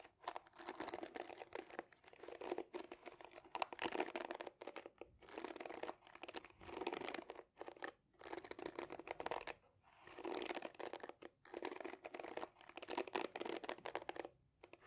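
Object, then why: Plastic hairbrush bristles. Fingernails scratch and pluck the short plastic bristles of a black and pink plastic detangling hairbrush. The result is repeated bursts of dry, crackling scratching, separated by brief pauses.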